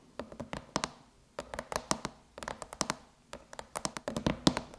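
Long chrome nails tap a closed silver aluminum MacBook lid with the Apple logo, striking with both fingertips and nail tips. About two dozen quick, dry metallic taps come in four separate flurries with short pauses between them. Each tap has a low-mid thunk and a bright clicky edge, and dies away almost at once.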